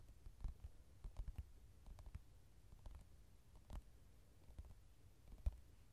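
Fingertips and nails tap and scratch the glossy card cover of a softcover mandala coloring book lying flat on a table, a solid stack of paper underneath. Eleven quiet, dull, low thuds are spread across the clip, mixed with faint brief scratches. Each tap dies almost instantly, with no ring.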